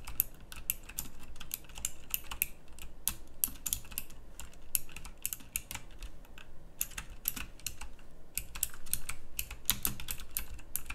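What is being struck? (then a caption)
Mechanical keyboard with round plastic keycaps. A full-size backlit pink mechanical keyboard with round plastic typewriter-style keycaps on a pink case is typed on with both hands, fingertips and long nails striking the keys. Steady, rapid clicky key presses with bright, sharp transients run continuously over a low, soft underlying hum.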